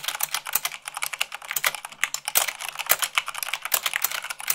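Fast two-handed typing with fingertips and long nails on white plastic keycaps of a black plastic mechanical keyboard. A rapid, dense run of bright, sharp clicks and clacks, with a few heavier thumps mixed in.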